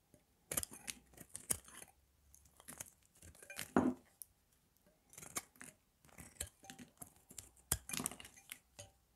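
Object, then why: Bar of soap cut with a metal blade. A palm-sized solid bar of dry, pale green Palmolive soap is held in the hand and scraped and cut with a metal blade, shaving off thin pieces. Quiet, crisp, crunchy scraping and slicing bursts with bright edges come in irregular clusters separated by short pauses.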